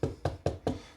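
Four knocks on a kitchen countertop that was glued down with construction adhesive and left to set for 12 hours. Each knock is a dull, low thud that dies away quickly. The solid sound shows the top is now firmly bonded.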